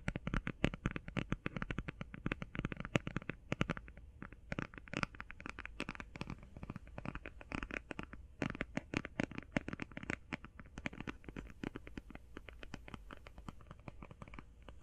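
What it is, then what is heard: Cardboard eyeshadow palette. Fingertips and nails tap fast on the cover and edges of a closed cardboard eyeshadow palette. A dense, steady stream of short, dry clicks and light scratchy taps runs throughout, with no ring after each hit, over a soft low rumble.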